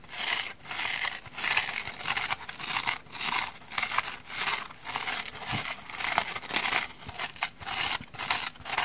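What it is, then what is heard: Dry foam kitchen sponge. Long manicured nails scratch the porous orange foam side of a dry kitchen sponge, held in both hands with its black scouring pad layer behind and another black sponge piece resting untouched nearby. The sound is a dry, bright, rasping scratch in short bursts at an uneven rhythm, with almost no low end.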